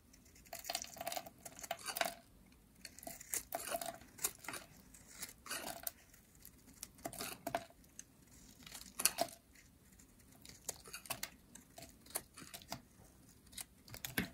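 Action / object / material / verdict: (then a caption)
scrape / bar of soap cut with a metal blade / soap / none. A metal utility blade carves curls from a hand-sized, green, solid dry soap bar with a ridged edge. It makes a quiet series of short, dry, crisp scraping and crackling strokes that are bright and high, with no ring after each cut.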